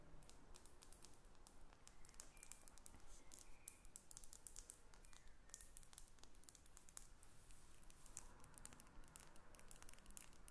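Long red nails tap on a faceted glass perfume bottle with a silver cap, first while it sits on a table and then after it is lifted. The sound is a quiet, steady run of many quick, bright clicks and ticks that die away almost instantly, over a low, soft background rumble.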